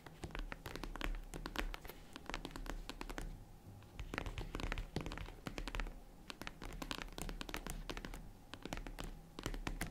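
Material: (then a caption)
Faux leather. Long red nails scratch and tap rapidly on the padded lid of a small, hollow, closed tan faux-leather zippered jewelry case. The result is a dense stream of dull, short, low-heavy taps mixed with soft scratching and bright clicks, easing briefly into quieter scratching before picking up again.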